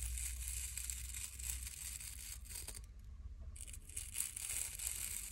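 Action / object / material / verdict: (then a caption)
scrape / wooden brush with natural bristles / natural bristle / none. Long glittery nails scratch across the dense natural bristles of a small wooden nail brush. The result is a bright, crackly rasping that runs steadily, breaks off briefly near the middle, then picks up again over a faint low rumble.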